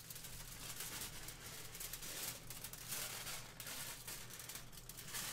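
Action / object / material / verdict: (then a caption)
scrape / aluminium kitchen foil sheet / aluminium foil / none. A thin, large, crinkled sheet of aluminium kitchen foil is held in the hands beside the microphone and crumpled and crinkled with the fingers. The result is a quiet, continuous, bright crackling rustle that swells and eases in waves, over a steady low hum.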